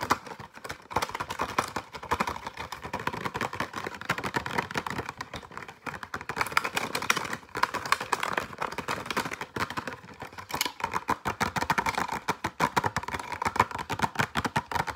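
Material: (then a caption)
Plastic, cardboard. A pencil pack in clear plastic with a cardboard backing is tapped and scratched very rapidly with fingertips and nails. The result is a dense, continuous stream of short, dry clicks and crinkly scratches, with a papery midrange tone near 1 kHz. There is little low end, and bursts of brighter hits come in fast, uneven waves.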